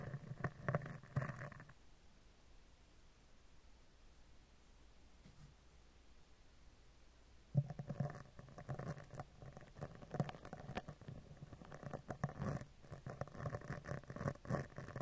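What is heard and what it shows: A spoolie brush scratches over the upper right of a hollow steel mesh microphone grille, then across its front face. Dense, low, scratchy rustling fills the first two seconds, followed by near-silence until about 7.5 seconds. The scratching then resumes in busy bursts through the end.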